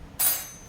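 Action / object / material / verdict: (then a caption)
tap / crusty bread loaf tapped with a knife / bread crust / hollow. A loaf of artisan bread, after 23 minutes of baking, is tapped once with a knife to test for a hollow sound. The single sharp, bright tap rings briefly and fades. It sounds hollow, showing the loaf is done.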